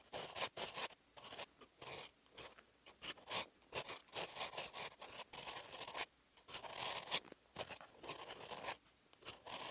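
A steel fountain pen nib writes Korean characters in green ink on a lined paper sheet. Repeated short strokes give bright, dry scratching bursts with brief quiet gaps between them.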